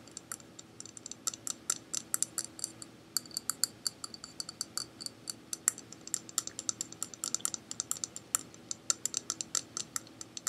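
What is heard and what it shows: An empty, small, hollow pink plastic bowl-shaped container is held in one hand and tapped with fingertips and nails. It produces a rapid, irregular series of sharp, bright clicks that stop almost instantly. The clicks are concentrated in the high frequencies, over a faint steady low hum.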